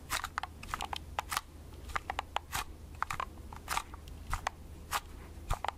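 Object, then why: Plastic compact film camera. Long red-painted nails tap a small hollow plastic Agfa compact pocket film camera held in both hands. The result is an irregular run of sharp, dry, bright clicks and crunchy taps that die away instantly, over a faint steady low hum.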